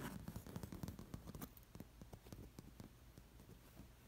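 Fingertips and long nails rake across an embroidered fabric cushion covered in dangling, sewn-on metal sequin discs, making them clink together. The result is a rapid, irregular patter of short, dry clicks and crackles over a low rustle. The sound is strongest in the first second and a half, then settles into softer, sparser clicking.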